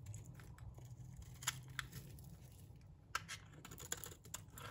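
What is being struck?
Green bar of soap shaved with a metal blade.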